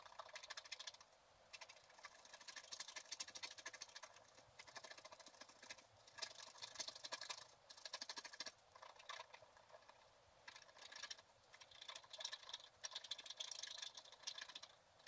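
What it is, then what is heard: Scratch art card being scraped with a stylus. A wooden stylus scratches the coating off a flat, black-coated scratch art paper card around a stockings motif. The sound is quiet, dry, rapid scratching in bursts of a second or two separated by brief pauses, with a bright, hissy texture and almost no low end.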